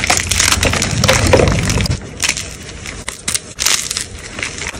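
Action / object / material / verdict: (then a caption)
scrape / gym chalk block / chalk / none. Solid white gym chalk blocks are crushed quickly in both hands with long pale nails, with fragments and powder falling into a tray. Dense, dry crunching and crumbling fill the first two seconds with a heavier low body. It then thins into lighter, bright crackles and short crumbly bursts as the pieces break down.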